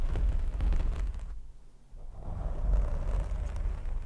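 Fingertips scratch, grip and rub a black foam windscreen on a microphone, producing a deep, muffled rumbling crackle with almost all of its energy in the low end. The scratching briefly drops away to a quiet hush in the middle, then returns to the same dense, boomy rustling.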